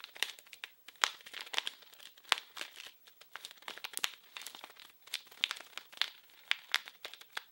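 A small blue printed package wrapped in plastic film is crinkled and scratched with fingers. The result is a steady run of dry, bright crinkling and crackling with sharp scratchy bursts, almost no low end, and no ring after each sound.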